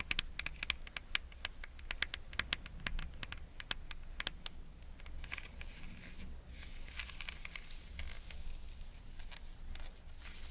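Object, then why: Braided jute rope soles. Long fingernails tap and scratch the braided jute rope soles of a pair of espadrilles held up in the air. Quick, bright clicks come first, then a softer, denser crackly scratching over a steady low hum.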